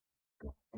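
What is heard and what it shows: Two dull, low taps on a plastic whiskey bottle, each producing a short hollow thud that dies away almost at once. The bottle is plastic rather than glass, which was a surprise when it was picked up.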